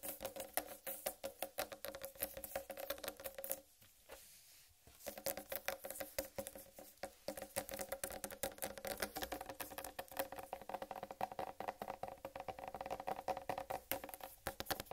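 Long red nails tap and scratch quickly across the striped rind of a large, whole, uncut, solid watermelon, making a dense patter of light, dry clicks with a hollow tone around 500–700 Hz. The tapping breaks for about a second near the four-second mark, then resumes just as fast until the end.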